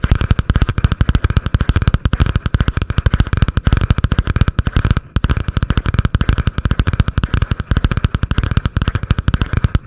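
Long painted nails rapidly tap and scratch a butterfly-print spiral notebook with a cardboard cover held above the microphone. A dense, steady stream of short, dull, low-heavy taps runs throughout with a faint scratchy rasp and one brief gap near the middle.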